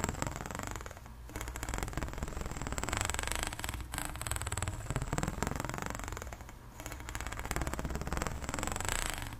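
Long nails and fingertips scratch along the ridges of a long, extended pink ribbed hollow plastic corrugated pop tube. The result is a dense, rapid ratcheting rasp with a low, hollow body and a faint, thin high tone above it, briefly dipping near the one-second mark and again around six and a half seconds.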